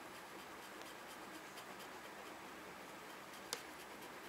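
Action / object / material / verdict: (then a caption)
scrape / paper scratch-off coupon scraped with a plastic tool / paper / none. A red plastic pen-like tool scratches off the coated number boxes on a small, flat, printed paper scratch-off parking coupon lying on a white desk and held down by fingers. The result is a quiet, steady, airy scratching with faint rhythmic strokes, plus one brief, bright tick near the end.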